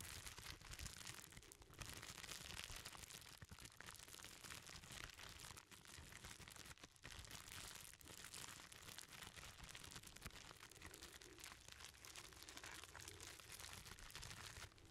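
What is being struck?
Plastic bubble wrap bundle.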